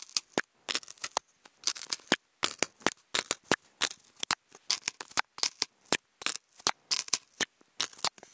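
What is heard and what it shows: Wooden toothpicks scratch a hollow, octagonal white polystyrene foam food container in quick, separate strokes. Each stroke gives a dry, bright, squeaky scrape with almost no low end. The scrapes come in a rapid, uneven rhythm with short silences between them.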